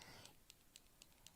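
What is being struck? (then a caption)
Plastic paint marker with a mixing ball. A Posca plastic paint marker pen is shaken before use, its loose mixing ball rattling inside to mix the liquid paint. Five sharp, bright clicks at a steady pace are heard over a low background rustle. The rattle is normal for the pen's mixing ball moving in the paint.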